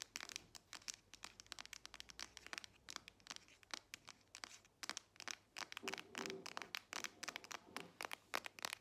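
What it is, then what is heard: Smartphone with metal back. A solid grey Samsung smartphone with a metal back is held in both hands and tapped and scratched with long nails on its back and edges. Rapid, closely spaced bright clicks and scratchy, crinkly rasps follow one another, quiet and sharp with almost no low end. Each tap dies away instantly without ringing.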